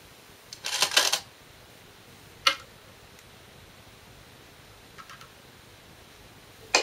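Glass go stones are placed on a shinkaya wood floor go board, each placement giving a sharp, bright click on the wood. A quick flurry of clicks comes early, followed by a few isolated placements, with the last two much softer. Each click dies away almost at once, with a quiet background between them.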